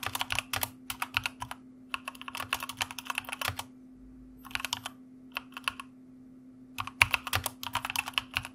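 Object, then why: Mechanical keyboard with plastic keycaps. Fast typing with the fingertips of both hands on a white mechanical computer keyboard with plastic keycaps produces bursts of sharp, bright clicks that die out almost instantly. Brief pauses break up the bursts, and a faint steady low hum runs underneath throughout.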